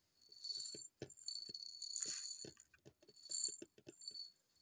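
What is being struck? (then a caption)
Small plastic cosmetic bottle. Long purple nails tap a small, hollow white plastic cosmetic bottle with a printed label, held upright. The result is a string of quick, light, irregular clicks and taps with a bright, rattly sparkle and almost no low end. Each tap dies away almost instantly.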